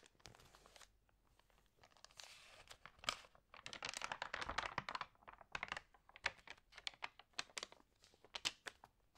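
Hands with long nails rub and press the glossy paper pages of an open food magazine and flip them. Bright, crisp crinkling and rustling come in short bursts, with sharp taps and snaps between them and a dense swell of crinkling near the middle. The sound is quiet overall, with almost no low end.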